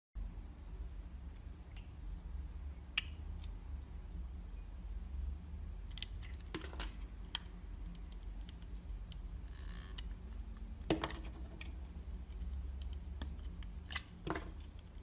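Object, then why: Bar of soap cut with a steel blade. A steel utility-knife blade shaves thin slices off the surface of a hand-sized, solid red rectangular bar of Dalan soap held in the fingers. Soft, crisp scraping and cutting ticks, some bright and sharp, sound over a steady low hum.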